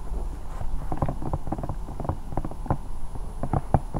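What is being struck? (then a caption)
Hollow silicone night lamp. A hand-sized, hollow, bear-shaped silicone night lamp stands over the microphone and is scratched and tapped with long painted nails. The sound is a steady run of soft, muffled, low thumps and dull rubbery scratching, with very little bright content.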